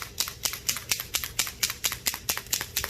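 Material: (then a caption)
Metal. A Krylon 18 karat gold leafing paint pen is shaken before use, and the little metal mixing ball rattles inside it. About twelve short, bright clicks sound at a steady pace, meaning the paint has loosened and is mixing.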